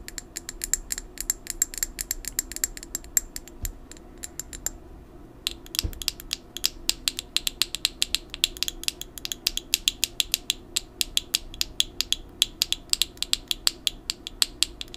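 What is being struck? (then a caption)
Plastic pill bottle with screw cap. A hollow amber plastic supplement bottle, a brown pill bottle with a screw cap and paper label held in the hand, has its cap and sides tapped and scratched with long nails. The result is a rapid run of crisp, bright, very short clicks and ticks with a ratchet-like texture over a faint low hum. There is a brief pause near the five-second mark before the tapping picks up again.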